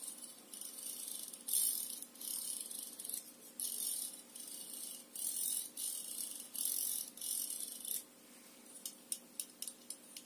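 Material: Plastic.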